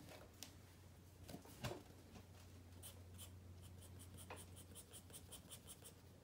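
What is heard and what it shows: A wooden pencil draws on a white spiral paper sketchpad resting on a wooden desk, making continuous rubbing and scratching strokes on the paper. A few sharper scratches stand out early, followed by a run of quick, bright, evenly spaced strokes, all over a steady low hum.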